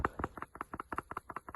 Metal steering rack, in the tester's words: give them a rattle. You hear that? It's no good.